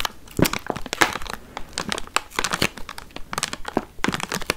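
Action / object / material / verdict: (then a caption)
scrape / thin plastic tub with film lid / plastic / none. A small clear plastic tray full of red watermelon pieces with a film seal is held in the hands and tapped and scratched on its sides and lid with long nails. Quick, bright crinkling clicks and scratches come in rapid irregular bursts, with a few soft low thumps underneath. Each tap dies away almost at once.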